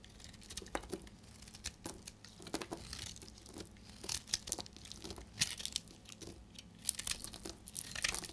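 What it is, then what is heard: Dry bar soap. A solid, dark blue-grey bar of dry soap is held in the hand and shaved with a utility knife blade. Each stroke makes a dry, crisp, crackling scrape, bright and papery like tearing or crinkling, with very short sharp bursts over a faint low background.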